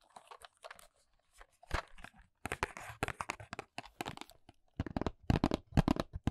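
Long nails scratch and tap the printed back of a small white paperboard nails box held close. The result is quick, uneven bursts of dry, crinkly scratching and soft tapping, with a few brief pauses and louder, fuller taps near the end.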